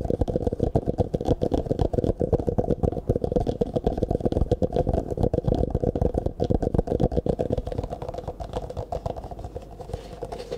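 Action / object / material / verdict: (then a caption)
tap / clear plastic cup / plastic / none. Fingertips rapidly tap and scratch an empty, hollow clear plastic cup held sideways near the microphone, then upright. The result is a fast, uneven stream of dull, hollow taps with low-heavy body and little brightness. The tapping softens and thins toward the end.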